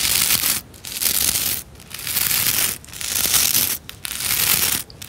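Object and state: Plastic scrub brush bristles.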